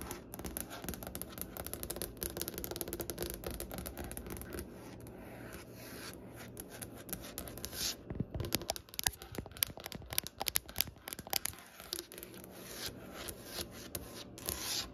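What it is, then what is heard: Wooden butcher-block desk. Both hands tap and scratch a large, solid butcher-block desk top with striped-grain wood using the tips of long nails. A dense, bright scratching and rubbing texture runs throughout, broken by quick, sharp taps that grow sharper and more prominent in the second half. The taps stop instantly with no ring.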